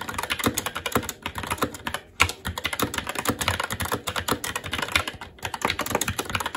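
Continuous fast two-handed fingertip typing on a SteelSeries Apex 7 TKL mechanical keyboard with plastic keycaps on a metal top plate and Red linear switches. Rapid, short, bright plastic clacks with a low thump under each keystroke and very little ring follow one another densely, with a brief pause near the two-second mark before the typing resumes.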